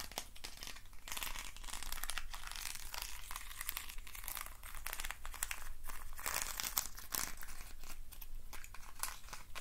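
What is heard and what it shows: Fingertips and nails scratch and rub the ribbed sides of a hand-sized, hollow hexagonal box made of thin wooden sticks. The result is a steady stream of dry, crackling scrapes and clicks with bright, hissy texture over a low hum. The scrapes cut off sharply with almost no ring.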